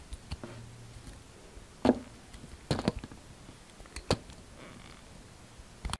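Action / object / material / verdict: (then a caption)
scrape / solid bar of soap cut with a knife blade / soap / none. A utility knife blade cuts into a solid yellow bar of soap and scrapes off pieces as the bar gets smaller. Short, dull scraping and slicing clicks stand out at scattered moments, with the loudest cuts near the 2-second and 3-second marks, and each dies away almost at once. A quiet, low background hum runs between them.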